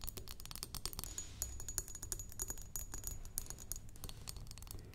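Long nails tap rapidly with both hands on the sides of a square glass perfume bottle with pink-tinted sides, partly filled, resting on a wooden table. The taps are quick, dense and clicky, each one short and bright with a faint high glassy ring above a soft low background rumble.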